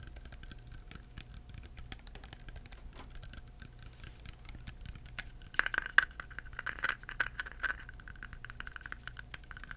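Fingertips tap a small clear plastic hand sanitizer bottle filled with liquid and topped with a white cap, held upright. Soft, dry, irregular taps patter quietly throughout. A few louder taps around the middle carry a hollow plastic ring near 1.6 kHz that dies away almost instantly.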